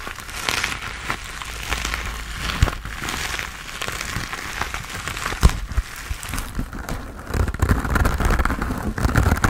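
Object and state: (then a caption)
Foam sponge scratched and tapped. A hand-sized grey textured foam sponge on a tan foam base, solid and porous, is held in both hands while fingertips and nails scratch and tap its surface. The result is a steady, soft crinkling scratch with a low rumble underneath and occasional sharper taps that stop quickly. The scratching grows busier and slightly louder toward the end.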